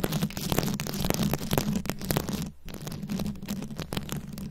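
Long acrylic nails scratch and tap across a fist-sized microphone head fully covered in small glued-on rhinestones and beads. The result is a dense stream of crackling clicks and scratchy rasps over a heavy low rumble, with a brief drop to near-quiet about halfway through before the scratching resumes.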